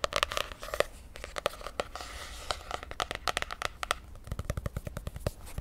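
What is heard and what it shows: Long nails rapidly tap and scratch the glossy laminated cardboard cover of a popsicle-print spiral notebook held in one hand. The sharp, clicky taps decay almost instantly, with a faint scratchy rustle between them. Near the end the taps turn duller and thumpier.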